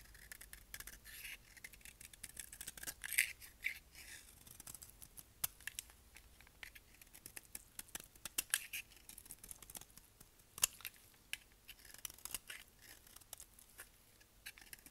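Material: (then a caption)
Soap. A solid brown embossed dry bar of soap, held in the hand, is shaved with a utility knife blade, and pale shavings come off it. Quick, crisp, bright scraping strokes repeat throughout, with the loudest bursts near 3 and 10.5 seconds.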